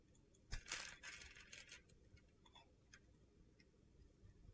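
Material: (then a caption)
Soap. A solid mint green bar soap held in the hand is chipped and scraped with a metal utility knife blade, leaving flakes around it. A sharp crunchy cut opens a burst of bright, gritty scraping that fades after a couple of seconds into faint, scattered ticks and taps over a low background hiss.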